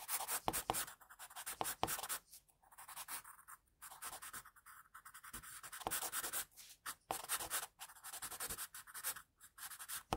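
An HB wooden pencil shades hair on a white drawing paper sheet with repeated strokes, the graphite scratching the paper. Dry, bright scratchy bursts come in quick runs separated by brief pauses, with little low end and no ring after each stroke.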